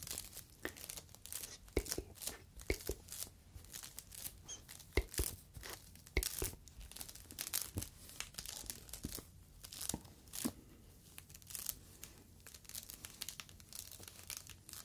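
Fingers squeeze and stretch a yellow polyethylene foam mesh sleeve, the kind of protective net used on fruit. It gives many quick, dry crinkles and tearing-like crackles, some brief snaps bright and sharp, over a faint low hum, with short quieter pauses between bursts.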